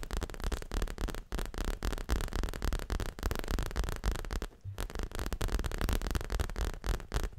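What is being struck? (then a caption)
Leather-covered stuffed cushion. Long fingernails rapidly tap and scratch a soft, stuffed, dark grey leather-covered pillow hugged to the chest. The result is a fast, uneven stream of dull, low thuds and dry scratching with a soft hiss, broken by brief pauses.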